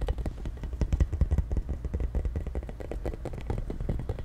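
Fingers tap and scratch the spikes of a pink, hollow, hand-sized plastic spiky ball held close to the mic. The result is a dense run of quick, dry, clattery taps with a heavy low thump and almost no ring. The taps are loudest in the first second and a half, then settle into a steadier, softer patter.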